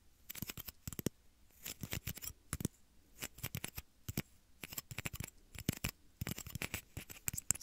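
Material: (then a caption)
Plastic. Small, hollow, empty clear plastic shot glasses held at the ears of a 3Dio microphone are tapped and flicked with fingertips and short nails. The result is quick, dry, bright clicks in irregular bursts, each dying away almost instantly with no ring.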